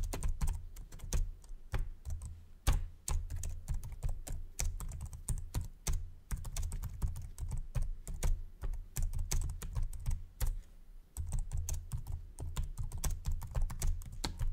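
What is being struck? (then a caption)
Plastic laptop keyboard. Fingertips type fast on the low-profile plastic chiclet keyboard of a white Samsung laptop, producing a dense run of short, dry clicks and taps. A steady low hum runs underneath the clatter, which briefly dips near the 11-second mark before the quick typing resumes.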